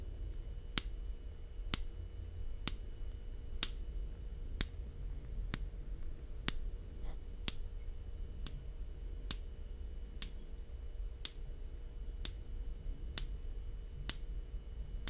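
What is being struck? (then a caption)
Plastic camera lens cap. A small, thin, hollow black plastic Sony lens cap is held in the hand and tapped with the fingertips near a binaural microphone. Short, sharp, bright clicks come at a steady, roughly once-a-second pace, each dying away almost instantly. A constant low rumble and a faint steady tone sit underneath.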